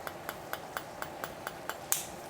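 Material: Eggshell.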